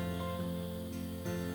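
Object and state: Nothing is struck.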